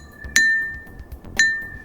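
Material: Glass.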